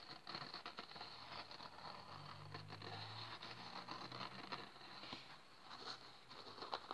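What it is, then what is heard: Dry kitchen sponge with scouring pad. A small, dry rectangular kitchen sponge of yellow polyurethane foam topped with a green abrasive scouring pad is squeezed in the fingers, then set on a table while the green pad is scratched with fingertips and nails. The result is a quiet, steady stream of dense, bright crackling and scraping, with a faint low hum in the background partway through.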